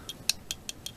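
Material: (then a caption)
Metal. A Jada diecast toy car from a flea market, mostly metal, is tapped on its base. Five short, bright clicks ring with a high metallic tick and die away almost at once, sounding like a metal base.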